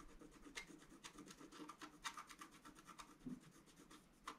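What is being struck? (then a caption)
Coated scratch-art paper card scraped with a wooden stylus. A wooden stylus scratches the basin area of a fountain design on a flat, black-coated scratch-art paper card, with the left hand spread flat on the card. Quiet, dry, raspy strokes repeat in an uneven rhythm, each brief scrape bright and short with almost no ring.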